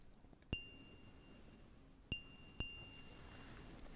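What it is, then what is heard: Textured glass cup. A small, clear, hollow and empty cut-glass cup with a diamond pattern is tapped and scratched with fingernails close to the mic. Three sharp, bright glassy taps each ring with high tones around 2.8 kHz over a quiet, faint scratchy background.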